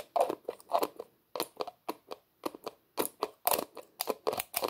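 A small, hollow red plastic tub with a white plastic screw lid is held in both hands while fingers repeatedly twist and rub the lid. This makes an irregular run of short, dry, scratchy crinkling bursts. They are centered in the midrange with some bright edges, and each one stops quickly, with quiet gaps in between.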